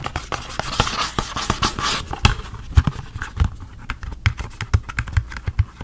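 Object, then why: Small cardboard box. Fingers scratch and tap the sides of a small blue and white cardboard packaging box with its flap open, hollow and apparently empty. For the first two seconds, bright, papery scratching mixes with quick taps. After that come sharp, dry taps with a hollow, low thump that die away almost instantly.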